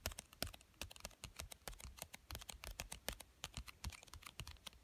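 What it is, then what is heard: Cardboard card game box being tapped. Fingertips with short dark-painted nails tap and scratch the top of a small, flat, hollow pink printed cardboard box for a children's card game, lying on a fleece blanket. About thirty quick, dry, clicky taps sound in an uneven rhythm, each a bright crisp tick over a soft hollow low thump, with faint scratching between them. Each tap dies away almost at once.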